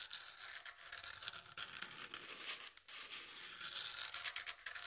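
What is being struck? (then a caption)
Corrugated cardboard sheet. Long nails scratch along the exposed corrugated edge of a brown corrugated cardboard piece held edge-on. The result is a continuous, bright, raspy scraping with quick rhythmic strokes that dips briefly before picking up again.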